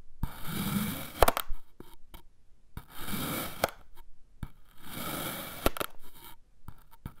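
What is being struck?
Kinetic sand cylinder cut with a metal knife.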